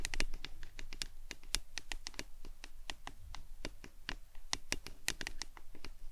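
A hollow, printed plastic lemonade tumbler cup, held upright in both hands, is tapped and scratched with long acrylic nails. A rapid, uneven series of sharp, bright clicks and taps sounds over soft scratching, each tap dying away almost instantly.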